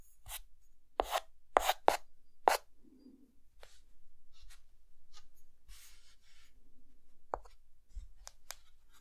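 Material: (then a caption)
Chalk. A white chalk stick draws hair lines on a face sketched on a dark, flat chalkboard, making short, sharp scratching strokes with bright, crisp edges. The strokes are separated by quieter stretches of soft rubbing and light scraping as the chalk moves across the board.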